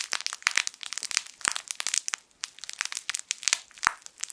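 A hand-sized, yellow, sun-shaped plush crinkle toy with crinkle film inside is squeezed and rubbed with the fingertips of both hands. It makes dense, bright crinkling and sharp crackles in quick, uneven bursts, with almost no low end.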